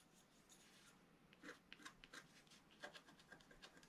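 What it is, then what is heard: Stylus scratching wax-coated scratch art paper. A wooden stylus scrapes the black coating of a flat page of wax-coated scratch art paper in repeated strokes. It makes quiet, dry, bright scratching sounds that come at an irregular pace over a soft hiss, each stroke short and fading almost at once.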